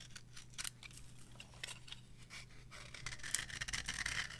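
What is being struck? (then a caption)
Bar of soap scraped with a metal blade. A metal blade scrapes across the surface of a yellow, varnished dry bar of soap resting on a palm. It makes quiet, bright, crisp scratching strokes at an uneven pace over a faint low hum, and the scrapes grow denser and sharper toward the end.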